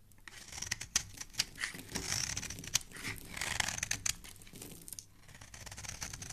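A solid white bar of soap, held in fingers with dark painted nails, has its surface scraped with a metal blade, shaving off powdery flakes. The sound is a dry, bright, crisp scratching made of rapid, closely spaced strokes with sharp little clicks scattered throughout and almost no low end.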